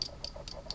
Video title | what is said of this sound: Customizing White Flowers Tutorial | I'm tapping it pretty hard and it just does not give at all